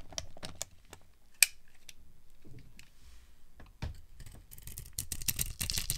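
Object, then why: Soap bar scraped with a metal blade. A metal blade scrapes and carves crunchy flakes off a dry, solid, rectangular white Ivory soap bar with a glittery coating. Quick, crisp, clicky scrapes are heard, with one sharp, bright crack early on. Toward the end the shaving turns into denser, rougher bursts of crunching.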